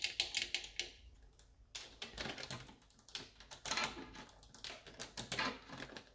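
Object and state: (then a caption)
Plastic coffee machine control panel, solid. Long orange acrylic nails and fingertips tap and click on the black glossy plastic front control panel of a Saeco coffee machine, with its buttons set in a solid housing. Quick, bright, dry clicks come in uneven bursts with short pauses, each dying away almost at once with very little low end.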